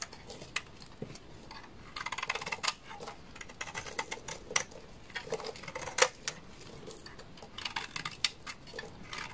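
A utility knife blade shaves a hand-sized, solid orange soap bar, producing dry, crisp scraping and crackling with irregular bright clicks and snaps. Short bursts of faster, denser shaving swell louder, and a few sharper cracks stand out above a quiet background.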